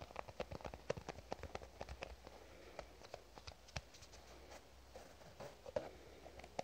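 Long nails tap and scratch a small, hollow, black plastic cosmetic squeeze tube, producing a quick, irregular run of dry, clicky taps. The taps have a hollow midrange tone near 560 Hz, with faint scratching between them. Each tap dies away almost instantly and the overall level stays quiet.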